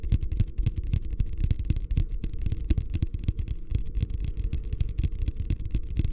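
Fingertips drum and tap rapidly on the bottom of a medium beige plastic wastebasket, hollow and empty and held upside down. The result is a dense, steady patter of short, deep, hollow thumps with faint bright clicky edges, each dying away almost instantly.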